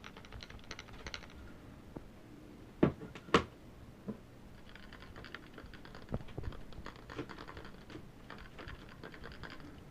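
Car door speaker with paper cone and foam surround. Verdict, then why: Loose. An old factory door speaker from a 1996 Chevy Astro van, its foam surround rotted out, is shaken by hand and gives a dry, clicking rattle in irregular bursts, with a few louder knocks near the start. The rattle shows the speaker is bad, since nothing holds the loose cone in place.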